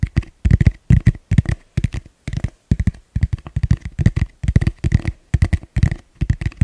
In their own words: ASMR fast gentle tapping on plastic bowl